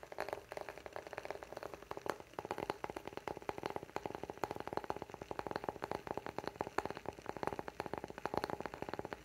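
Fingertips and nails tap and scratch across the grain of a small round light-wood candle lid with engraved lettering, working over its top and edge. The result is a steady flurry of quick, dry, clicky taps mixed with soft scratchy rustle, with a mid-range woody tone around 400 Hz and almost no ring after each hit.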